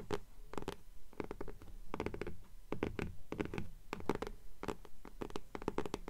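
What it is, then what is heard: Hardcover book tapped with nails. Long nails tap and scratch the front cover of a blue hardcover "Fairies" book with a paper dust jacket, held upright in both hands. Quick clusters of soft, dull taps and papery scratches come in uneven bursts, each dying away almost instantly. Most of the sound sits in a low thud with a faint mid-range knock.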